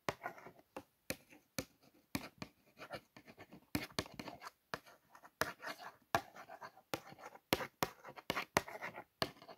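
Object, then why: Small closed cardboard carton. Long nails and fingertips trace and scratch along the printed letters on a small, hollow, closed Colgate toothpaste carton made of printed cardboard. About twenty quick, dry, scratchy strokes come in short bursts separated by brief silences. The strokes are soft, with a papery hiss reaching up into the highs and almost no low end.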